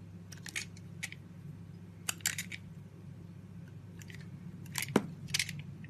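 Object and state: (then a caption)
Bar of soap being carved. A hand-sized solid blue bar of soap, held in a palm with long white nails, is scraped and carved into thin layers by a small red-handled utility knife. The clip has clusters of short, bright, crisp scraping strokes, with the loudest, sharpest cut near the end, over a low steady hum.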